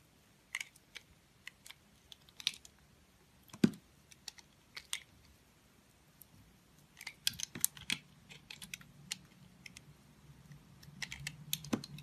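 A metal utility-knife blade carves and scrapes thick slices off the face and edge of a round, solid, multicolored confetti-patterned soap bar held in the hand. Short, crisp, bright clicks and scrapes come in scattered bursts, growing denser in the second half over a soft low rumble.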